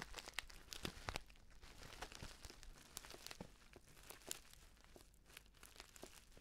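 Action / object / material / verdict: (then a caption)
scrape / filled paper tea pouch / paper / none. A filled, orange-printed stand-up paper tea pouch is held at the side near the mic and squeezed and scratched with the fingers. It gives a steady run of dry, bright crinkles and sharp crackling snaps over a soft, low rustle. The sound is densest in the first second and gradually thins to quieter crackles.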